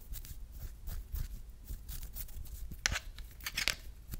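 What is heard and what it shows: A hand-sized smartphone in a solid, hard plastic marble-print case, held in both hands, is tapped and scratched with long red-painted nails. Quick, dry clicks and rough scratching rustles come in irregular bursts, with a few sharper, brighter taps near the end.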